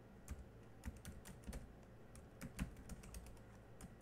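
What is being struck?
Laptop keyboard with plastic keys.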